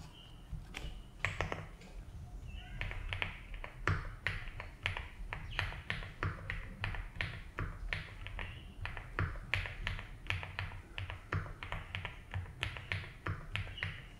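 Fingertips slowly type on a 75% mechanical keyboard with ABS keycaps in a light blue plastic case. Crisp, clacky keystrokes arrive in an uneven, unhurried rhythm, each a short bright tap that dies away quickly. A steady low rumble sits beneath them throughout.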